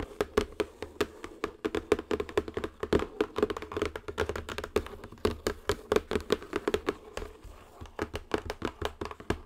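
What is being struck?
Cardboard box.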